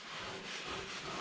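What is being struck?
Nothing is struck.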